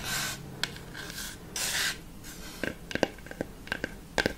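Long fake nails scratch and rub across the flat wooden face of a large round plywood balance board with a black plastic dome in the centre, held upright. Bursts of hissy rasping come first, followed by a scattering of short, sharp clicks with almost no ring.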